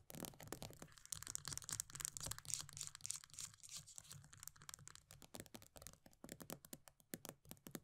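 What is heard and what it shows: Long nails rapidly scratch and tap the pale green plastic base of an upside-down body butter tub with a paper label. Bright, dry clicks and rasping scrapes come in quick bursts over a faint low hum, each tap dying away almost instantly.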